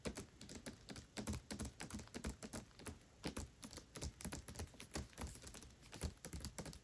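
Long nails scratch and rub the glossy paper dust jacket of the hardcover book *Tress of the Emerald Sea* as it lies flat. The result is a quiet, rapid run of dry, crisp taps and scrapes with a soft low thump beneath them and almost no ring.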